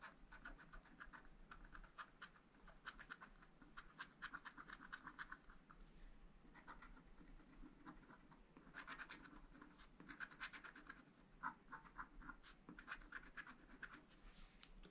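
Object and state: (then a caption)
Scratch-art paper sheet being scratched. A pointed wooden stylus scratches lines into the black coating of a thin, flat scratch-art paper sheet in a spiral pad lying on a table, while the other hand holds the pad. Quiet, dry, rasping scratches come in quick strokes and bursts, with a gritty midrange tone and bright edges over a faint low hum.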